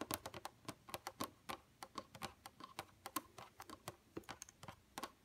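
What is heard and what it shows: Long pointed painted nails tap rapidly on a flat, dark computer monitor screen, using the nail tips. Many quick, sharp clicks with a bright edge follow one another in an uneven rhythm, each dying away almost at once.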